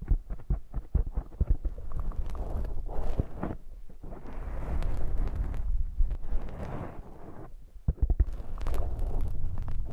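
Fingertips and nails scratch and rub a soft, porous black foam windscreen on a binaural microphone held up close. The sound is a deep, muffled rumble of dull thumps and rubbing, with quick bumpy taps at the start and longer stretches of steady scrubbing. After a brief near-silent pause near the end, the rubbing resumes.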